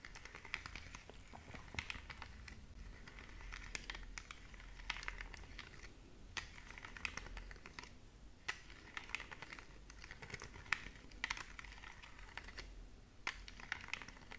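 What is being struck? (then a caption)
Plastic remote control with rubber buttons. Long nails tap and click across the rubber button keys of a small, flat, hollow plastic LED remote control held up in the air. The result is a quiet, steady stream of short, dry, bright clicks with a soft low hum underneath, and each tap dies away almost instantly.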